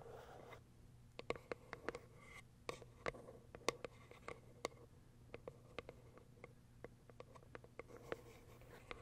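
Long acrylic nails tap on the plastic window on top of a small white cardboard box, making about two dozen quick, sharp clicks at an irregular pace. The taps are crisp and die away almost instantly, with a hollow tone in the mid range and bright upper edges, over a faint low steady hum.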